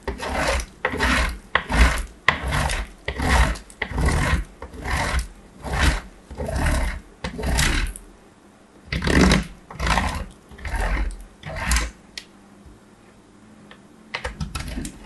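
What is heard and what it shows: A small, hard, glossy purple-striped piece of solid soap, held in the fingertips, is rubbed repeatedly across the perforated metal face of a box grater. Rough, rasping scrapes come in a steady back-and-forth rhythm, each with a deep body and a bright gritty edge, as shavings come off. After a pause, a few lighter, quieter scratches follow.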